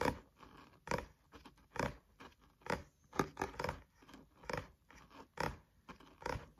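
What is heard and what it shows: Nails and fingertips tap and scratch the card front cover of a thick, solid green paperback textbook held upright. Dry, short taps alternate with softer scratchy strokes in a loose, uneven rhythm, each hit dying away almost at once with a mid-range body and a bright edge.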